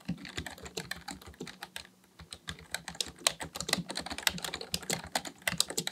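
Both hands type steadily with their fingertips on a black plastic full-size computer keyboard resting on a desk, tapping the plastic keys. Quick, bright, dry clicks and clacks follow one another in a rapid, uneven stream with very little low end, pausing briefly around the two-second mark before resuming.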